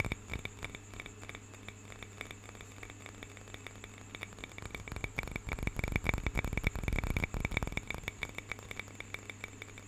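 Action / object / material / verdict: tap / small carved wooden cup / wood / none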